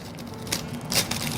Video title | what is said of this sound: SUPER LUTONG na PRITONG LUMPIA with TINAPA and SALTED EGG (Mrs.Galang's Kitchen S16 Ep2) | Kaya ang lutong yan. Ang lutong talaga siya. Lutong. Totoo yung sound na yun